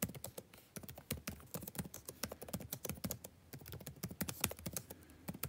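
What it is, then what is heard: Plastic laptop keyboard being typed on. Fingertips of both hands type fast on a backlit laptop keyboard with plastic keys. It makes a quick, irregular run of short, dry clicks and taps, each with a soft low thud and a bright snap that dies away almost at once. The level stays quiet throughout.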